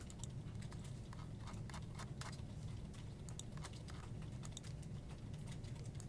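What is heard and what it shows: Fingertips type steadily on a full-size black plastic desktop keyboard with hollow keycaps. A quiet stream of light, bright key clicks sits over a constant low rumble.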